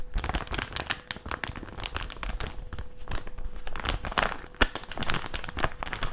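A small, thin, flat white plastic packaging pouch for face masks is held and bent with both hands and crinkled with the fingers. It gives a dense run of crackling, crinkling bursts with bright, sharp edges and some low rustle. A faint steady hum runs underneath throughout.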